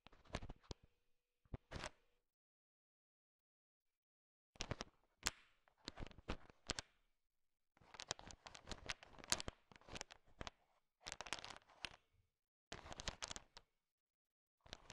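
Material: Sugar shell.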